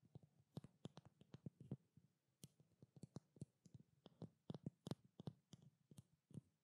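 Long black nails tap rapidly on a small, blue-labeled treatment oil bottle, likely glass, held close to the microphone. About 25 quiet, short clicking taps come in uneven bursts, each a dull low knock near 150 Hz with a faint bright tick and almost no ring.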